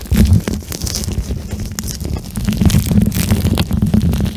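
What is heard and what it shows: A pink plastic eye mask filled with soft, flexible gel beads is held in both hands while fingertips squeeze and rub the beads close to the microphone. The sound is a continuous low, muffled squishing and rumbling, with faint crackly clicks scattered throughout.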